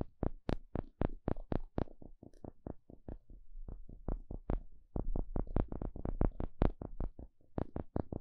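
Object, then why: Small thin wooden spatula. A small, thin, solid, flat wooden spatula is poked and scratched with a thin plastic toothpick-like stick. About thirty short, dry taps and clicks come in quick, uneven bursts, each with a low, thumpy body and a bright crisp edge. A soft scratchy rustle fills the gaps, and each tap dies almost instantly.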